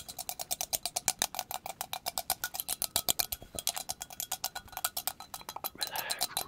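A hand-sized, hollow, apparently empty white ceramic coffee mug with a handle and the printed text 'Cup of Sunshine' is held in hand near the microphone and tapped fast with long pointed acrylic nails. About 48 quick, bright clicks with a short ceramic ring near 746 Hz are heard in a steady, rapid rhythm. Toward the end the taps blur into a denser, rougher patter.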